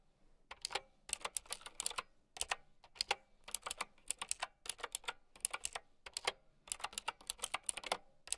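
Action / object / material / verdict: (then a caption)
tap / plastic mechanical keyboard with round keycaps / plastic / none. Long nails type on a plastic mechanical keyboard with round keycaps, making quick, bright clicks and clacks in short bursts separated by brief pauses. Each keystroke is a sharp, dry tap that dies away almost at once.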